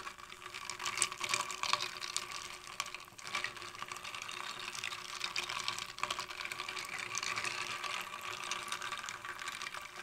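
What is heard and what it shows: A thin clear rod taps, pokes and stirs a shallow tray packed with many small solid ice cubes partly covered in water, under purple light. Bright, crisp clicks and clinks overlap with steady watery swishing and trickling. There is almost no low end.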